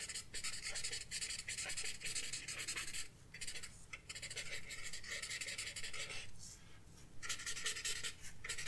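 A paper blending stump rubs in short strokes over the graphite on a flat sketchbook page, making a bright, dry scratching hiss. The rubbing comes in steady runs, breaking into brief lulls around the middle and again near the end, over a faint low rumble.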